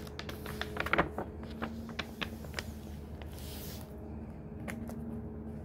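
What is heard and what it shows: Fingertips brush across the paper pages of a thick hardcover book and turn them. Soft, dry papery rustles and light crisp ticks come in scattered bursts, loudest near the first second, over a steady low hum.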